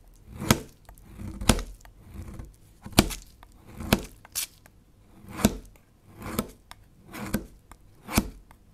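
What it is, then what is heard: Bar of soap being shaved. A small solid beige bar of soap, held by fingertips on a white cutting surface, is shaved and scraped repeatedly with a long metal kitchen knife. Ten separate crisp, bright scraping strokes are heard, each with a soft low thud and no ring. Thin chips pile up beside the bar.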